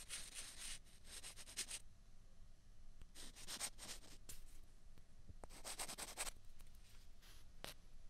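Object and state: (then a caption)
Plastic ping pong balls scraped together. Two small hollow white plastic ping pong balls are pressed together and scraped against each other by the fingertips. Quiet bursts of dry, bright scratching come in three clusters, with a few sharp ticks in the gaps, over a soft low rumble.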